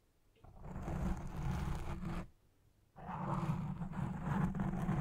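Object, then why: Foam microphone windscreen. Fingertips and long red nails scratch the black foam windscreen on a Blue Yeti Pro microphone, using one or both hands. Two bursts of dense, close rustling and scraping are heard, heavy in low rumble, with a short near-silent gap between them.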